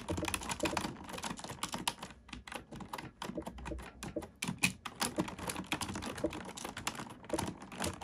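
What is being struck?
Plastic computer keyboard.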